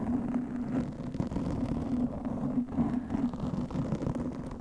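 Long nails on both hands scratch a black foam windscreen fitted on a studio microphone. The result is a steady, muffled scratching rustle with a low hum around 230 Hz and little high-end content.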